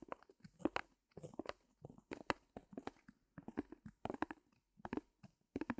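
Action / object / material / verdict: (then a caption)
tap / fabric canvas stretched on a thin wooden frame, tapped and scratched with fingernails / canvas / none. Long painted nails and fingertips scratch and tap the surface of a small white fabric canvas stretched over a thin wooden frame, which stands on a mini easel and is later lifted. Quick bursts of dry, crunchy scratching and tapping come in clusters separated by brief silences. Each touch dies away almost instantly, with a bright, papery edge and little low end.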